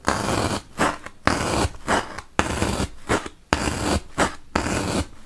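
A wooden toothpick is poked repeatedly into a large, solid white block of melamine foam (magic eraser). Each poke makes a dry, crunchy, broadband scratch that runs into the high range, with a low rumble underneath. The bursts come in an uneven rhythm, longer pushes alternating with shorter jabs, separated by brief quiet gaps.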